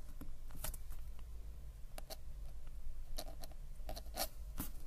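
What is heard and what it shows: A metal-nib ink pen scratches and glides across a flat paper sketchbook page while writing lines of text. Short, bright, irregular scratchy strokes sit over a steady low hum throughout.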